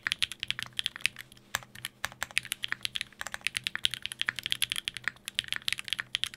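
A Sangeo 60 60% mechanical keyboard in a white case, with blue and grey GMK ABS plastic keycaps, an aluminium plate and Durock POM switches, is typed on rapidly by fingertips tapping the keys. The result is a dense, fast stream of short, bright, clicky-clacky keystrokes with almost no low end and no ring.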